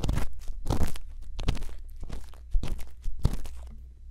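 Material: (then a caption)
Silicone. A thin bamboo earpick held in the fingertips scratches inside the ear canal of a white silicone ear mounted on a solid, round plastic binaural microphone housing. It makes close, crunchy scraping bursts that flare bright and crackly, with a steady low hum underneath, and then fade into softer rustling.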